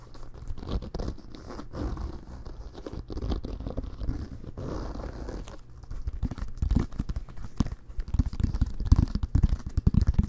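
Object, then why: Inflated American football with a pebbled leather cover. Fingernails scratch and fingertips tap the pebbled leather-like cover and laces of a full-size, inflated, hollow American football held in both hands. The result is a soft, dry, low-heavy run of scratching rustles, with quick taps that grow denser and louder toward the end.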